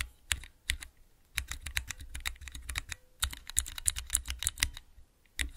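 Fingertips rapidly press the keys of a small clear plastic 3x3 Cherry MX mechanical key switch tester. The result is a quick, uneven run of sharp, bright clicks with low thuds beneath, each dying away almost instantly, with brief quiet gaps between bursts.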